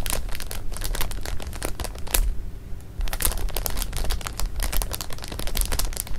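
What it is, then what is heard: Plastic bag of jelly beans. Fingertips press, rub and scratch a full clear plastic bag of jelly beans lying flat on fabric, working the beans through the crinkly film. Dense, irregular crinkles and bright, sharp crackles come in quick bursts over a low rumble, with a short quieter stretch in the middle before the busy crinkling resumes.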